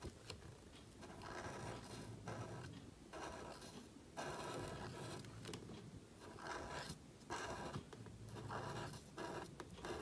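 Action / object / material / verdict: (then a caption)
scrape / thin paper cardstock with marker nib / paper / none. A calligraphy marker nib scrapes across a thin, flat sheet of black cardstock held flat by fingertips while writing. Soft, dry scratching strokes come in repeated bursts with brief quiet pauses between them, sitting in a low, rough texture with some brighter grit.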